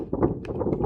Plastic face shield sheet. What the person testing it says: if i shake it you can hear that noise that it's it's pretty thick it's still making the same noise